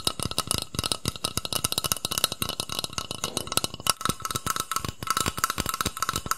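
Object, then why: Aerosol shaving foam can, metal. A hollow metal aerosol shaving foam can, about hand length, black with a green plastic cap, is held upright close to the mic and tapped rapidly with fingertips and nails. The result is a dense, continuous patter of short, dry clicks and taps that die away almost instantly. A faint metallic ring around 1.3 kHz sits under bright, crisp highs.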